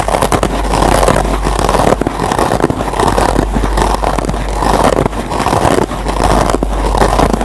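Several fingertips with short nails scratch the green nylon scour pad of a single foam scrub sponge, close up. A continuous dense, crackly rasping fills the clip, strongest in the midrange, swelling and easing in waves over a faint steady low hum.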